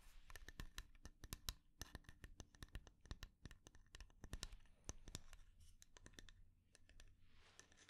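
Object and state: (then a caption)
Lidded wooden jar. Long dark nails tap and scratch the sides of a small, round, hollow wooden jar, dark-red lacquered with inlaid flower dots, held in the hands with its lid on. A rapid, uneven series of sharp, dry clicks with almost no ring is heard, broken by softer bright scratching rasps, especially toward the end, over a faint low hum.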